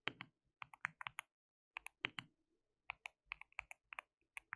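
Fingertips of both hands type on a white plastic mechanical keyboard with translucent keycaps. Quiet, bright, clicky keystrokes come in quick bursts separated by short pauses, each one sharp and dry with almost no ring.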